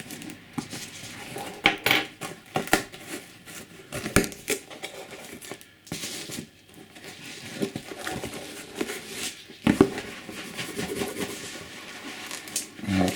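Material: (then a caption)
Cardboard. An unopened box holding a Class 68 model locomotive, just back from repair, is shaken to check for loose parts. Irregular rustling, scuffing and soft knocks of the box being handled are heard, with no rattling from inside, which indicates nothing is loose.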